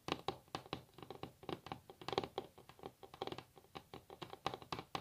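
Long natural fingernails of both hands tap and scratch rapidly on a solid wooden table top. About 27 quick, dry clicks and taps follow in an uneven patter, each dying instantly with no ring, with a mid-pitched woody body and bright, crisp edges at a quiet level.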